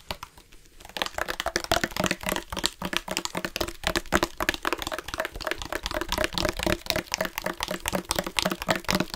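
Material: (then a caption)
Plastic. A black plastic drinking bottle with a yellow-trimmed cap, hollow and holding some water, is handled and tapped with the fingertips and nails. After a quiet first second, a fast, uneven stream of short, dry clicks and crinkly taps follows with bright, crackling edges, each dying away almost instantly.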